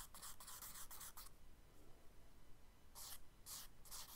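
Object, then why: Charcoal stick on kraft paper sketchbook page. A thin charcoal stick makes quick, scratchy hatching strokes across a spiral-bound brown kraft paper sketchbook lying flat, with some finger rubbing on the paper. Bright, dry scratching bursts come in a fast run, then a quieter stretch of soft rubbing over a low rumble. The strokes resume near the end.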